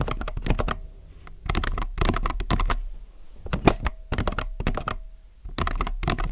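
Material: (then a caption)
Plastic. Fingertips type on a compact mechanical keyboard with plastic keycaps on a white desk, giving quick bursts of sharp, short clicks and clacks. Brief pauses separate the bursts, and a faint steady tone hums in the background between them.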